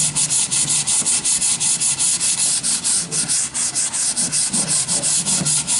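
A sanding sponge is rubbed back and forth along the surface of a long, solid wooden plank with worn holes. It makes a steady, bright, hissy scratching in quick, fairly regular strokes, with each pass briefly dipping in loudness.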